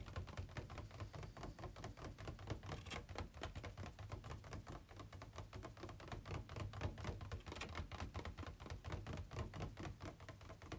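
Fingertips and nails tap on the inner walls of an empty, hollow, ribbed white plastic packaging insert tray held tilted on a bed. The result is a rapid, uneven stream of short, hollow plastic clicks and thunks with a deep, boomy body and a quick decay.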